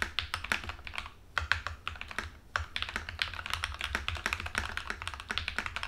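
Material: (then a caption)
Plastic. Both hands type with their fingertips on an Epomaker TH80 mechanical keyboard sitting on a desk; it has a plastic case, pink and white plastic keycaps, and tape-modded, lubed-and-filmed Black Ink V2 linear switches. A steady run of quick, bright, hollow clacks with short decays fills the clip, pausing briefly twice before the typing picks back up.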